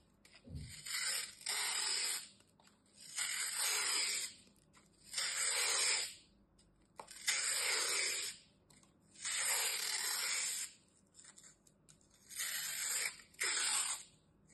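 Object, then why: Green floral foam strip. A utility knife blade scrapes and slices along the side of a long, solid, dry green floral foam strip held upright in the fingers. Repeated bright, hissing, gritty strokes come roughly every two seconds, each swelling and fading, with quiet gaps between them.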